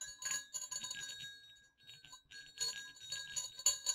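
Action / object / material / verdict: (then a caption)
shake / small metal jingle bells / metal / none. Two small hollow silver metal jingle bells on a cord are shaken and swung, giving bright, high jingling with quick tinkling bursts. The jingling thins to a near pause midway, then returns in louder, sharper clusters toward the end.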